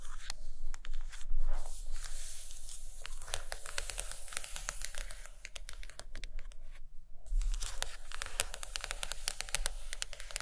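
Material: Cardboard.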